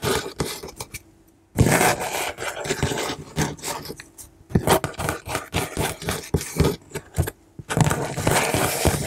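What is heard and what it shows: Long manicured nails and fingertips trace, scratch and lightly tap the flat face of a large, shut, brown corrugated cardboard shipping box with clear packing tape across the front. Dry, broadband scraping and rubbing comes in uneven bursts of quick strokes and soft taps, separated by brief near-silent pauses.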